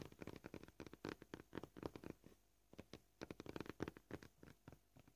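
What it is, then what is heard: Plastic cutting board, solid. Short purple-polished fingernails gently tap a flat, solid white plastic cutting board marked with knife cuts. The quick, dry taps come at an uneven pace, in dense clusters with a brief pause in the middle. Each tap is soft and low-mid in tone and dies away almost at once.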